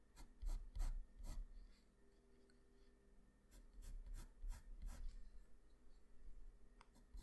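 A graphite pencil pressed close up against a flat white drawing paper sheet makes scratching strokes and hatching. Short, dry, rasping strokes come in a quick group, pause during a quiet stretch, then return in a busier cluster of scratches before tapering off.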